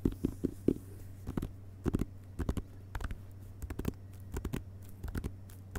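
Fingertips tap quickly on the glossy paper dust jacket of a closed hardcover book lying on carpet, first with the back cover up and then the front cover up. About 22 soft, dull taps sound in irregular bursts, each dying away almost at once, with a low thump and little high-frequency content.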